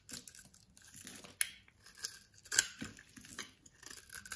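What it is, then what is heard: Bar of soap being scraped and cut. A box-cutter blade scrapes and slices into the edge and face of a solid orange-beige bar of soap held in the palm, breaking off flakes and cubes. The result is a series of dry, bright scraping and crisp crunching strokes, with sharper snaps near 1.4 and 2.6 seconds.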